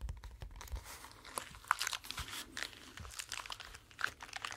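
A pink flexible silicone brush cleaning mat with suction-cup feet on the back is scratched, rubbed and bent by hands. The result is a quiet, continuous stream of crinkly, crunchy scratching and rubbing textures with bright, crisp detail and short sharp clicks.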